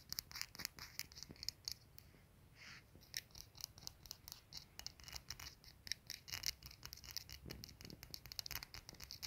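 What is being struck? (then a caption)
Glazed ceramic soap dispenser. A hand taps and scratches with fingertips and nails on the glazed dark ceramic body and ribbed base of a soap dispenser with a metal pump. The result is a quick run of many bright, dry clicks and scratchy rasps with almost no ring, concentrated in the high frequencies.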